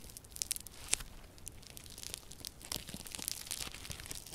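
Yellow crunchy slime with a grainy foam-bead texture is spread flat, then folded and squeezed in the fists by both hands with long purple nails. It gives off dense, quiet, bright crackling and popping, with a sharper snap near the one-second mark and steady crunching throughout.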